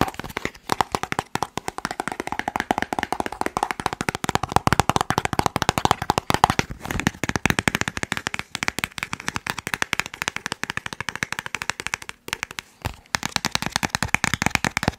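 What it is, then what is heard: Cardboard box, tapped. A small, hollow, white and teal cardboard product box is tapped quickly with the fingertips on its faces. The result is a dense, continuous stream of dry, sharp taps with a hollow midrange tone and no ring, with a few brief pauses along the way.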